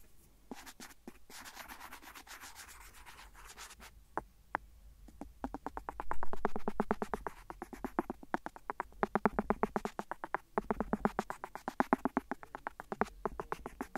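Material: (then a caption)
Silicone. A cotton swab rubs the edge of an empty, hollow, thin clear silicone phone case lying flat on the recorder. Soft scratchy rubbing opens the clip, followed by a fast run of short, dry scraping strokes at about four per second with a hollow low tone. A brief louder swell of rubbing occurs midway.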